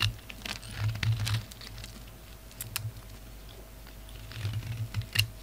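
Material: Soap.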